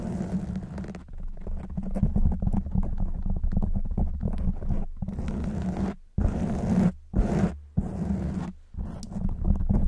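Long white nails on both hands scratch a black foam windscreen on a silver microphone, producing a dense, muffled, low rumbling scrape. The scratching runs almost continuously, with a few short silent breaks near the end.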